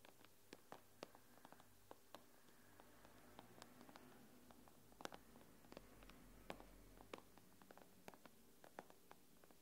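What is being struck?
Glass tablet screen.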